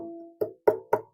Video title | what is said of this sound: Reconstructing the Anglo-Saxon harp (clip) | it looks like a plank of solid wood but it's actually hollow inside